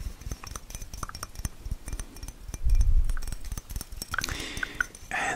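A small, mostly full blue glass cologne bottle with a dark cap is held in one hand and tapped with the fingertips and nails of the other. Quick, soft taps and dull low knocks come with brief glassy clinks, and a louder low rumbling stretch sounds midway through.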